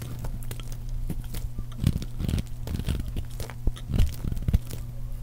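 A metal blade carves and scrapes a solid, rounded bar of teal dry soap held in the hand, producing a rapid run of dry crunching and scraping bursts over a steady low hum. Curled shavings peel off and crumbly chips fall away.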